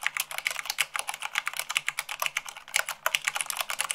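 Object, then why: Plastic mechanical keyboard keys. Fingertips with long acrylic nails type fast, about 98 words per minute, on a full-size mechanical keyboard with white plastic keycaps on a black base. Around 26 quick, bright plastic clicks and taps come in a rapid, uneven stream, each dry and short with almost no low end.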